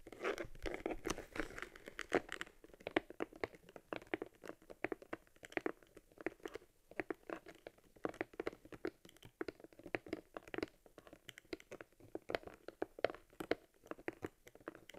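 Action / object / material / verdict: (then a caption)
scrape / leather camera case / leather / none. Hands with long red nails hold, rub and flex a hollow brown cowhide leather case with stitched seams and an embossed lens cover, fitted around a metal Argus C3 camera. The result is a quiet, dense run of short crinkling, creaking and crunching clicks, centered in the midrange with little low or high end.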